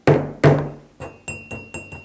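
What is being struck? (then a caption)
Cup. A cup is set down and struck several times. Six distinct taps are heard. The first two are loud, low thunks, and the four softer taps that follow carry a faint, high, bell-like ring that fades quickly.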